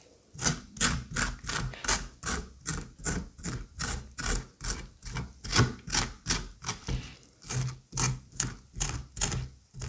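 A white curette scrapes the soft, wet, fibrous flesh inside the cavity of a hollowed squash half. Short, moist scraping strokes repeat at about two or three per second in a fairly steady rhythm, each with a bright hiss and a soft low thud.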